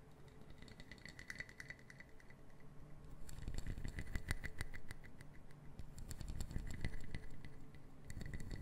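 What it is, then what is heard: Wooden puzzle box. Fingertips and long nails tap and patter fast on a small brown wooden puzzle box made of solid wood pieces, held in both hands. The taps form a quick, uneven stream of dry, short clicks with a low, dull body and bright nail ticks on top, with almost no ring. The patter swells louder through the middle of the clip, then eases off toward the end.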